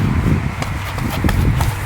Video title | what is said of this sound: Renovation vs new construction house flip-when to remodel vs tear down | i'm kicking i can hear that it's hollow i can hear that it's moving